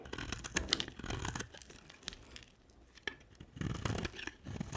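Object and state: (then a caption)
Dry soap bar being scraped. A hand-sized, solid white dry soap bar is held in one hand and shaved with a box-cutter blade, shedding crumbly flakes. Repeated scraping and carving strokes give dry, crisp, scratchy crackles with a bright edge, broken by a quieter stretch and a sharp single scrape before the strokes pick up again.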